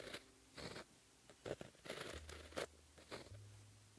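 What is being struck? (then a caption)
Gel pen on paper sheet. A white gel pen, held in the fingertips, writes Korean letters on a flat sheet of black lined paper, its tip scratching across the surface. A quiet series of short, dry, scratchy strokes and brief bright scrapes is heard, separated by pauses over a faint low hum.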